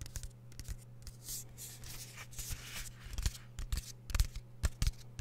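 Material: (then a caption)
Plastic. Fingertips and nails tap and scratch on the surface of a small, hollow, flat plastic DVD or game keep case with a printed cover insert, held close to the microphone. Irregular, quick, dry taps with short, bright scratching swishes between them sit over a steady low hum.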